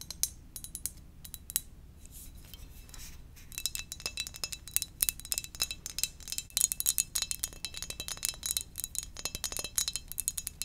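Gentle tapping on a ceramic donut-shaped mug produces a rapid stream of short, bright clinks with almost no ring, some steady high tones showing through. The taps start sparse and soft, then grow denser and louder from about four seconds onward.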